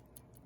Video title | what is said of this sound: 1920 Hamilton Railroad Pocket Watch in Salesman Case | you can tell when you tap on it with your fingernail whether it's glass or not